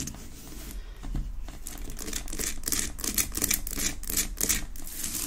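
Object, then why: Rock-salt lamp. Long nails tap and scratch quickly on a large, solid pink rock-salt Himalayan salt lamp that sits unlit on a wooden base. The clip is a fast, irregular run of dry clicks and bright, gritty scrapes, roughly three per second. A steady low hum sits underneath, and the scratching grows louder and denser toward the end.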